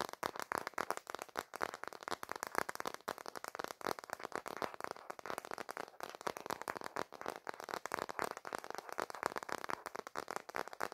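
Fingertips and dark nails rapidly tap and scratch the back of a smartphone held landscape in a black plastic case. The result is a dense, continuous stream of quiet, dry clicks and scrapes with almost no ring, centered in the midrange with little low end.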